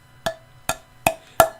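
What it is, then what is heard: Uncracked semi-porcelain piece. A Booths Royal semi-porcelain piece in the "Princess" pattern is tapped four times for a ping test, each tap giving a clear, bright ping centred around 650 Hz that fades quickly. The clear ping shows the piece is not cracked.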